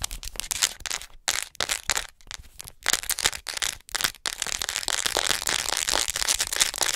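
A hollow white plastic acupuncture model doll is tapped and scratched on its chest and shoulders with long acrylic nails. The result is a fast, dense run of bright, clicky taps and scratchy rasps with very little low end. It is broken by a few brief pauses before a continuous busy stretch.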